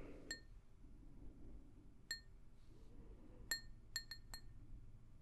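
An empty, hollow, pink glazed ceramic mug is tapped with long nails close to the microphone. Several short, bright clinks with high ringing tones sound at uneven intervals and die away quickly over a low background rumble.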